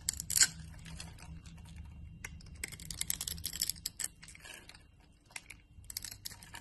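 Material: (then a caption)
Soap. A utility knife blade shaves a solid yellow translucent glycerin soap bar into thin translucent flakes. Quiet, bright, crisp scraping and crackling strokes come in short bursts over a faint low hum, with the loudest stroke near the start.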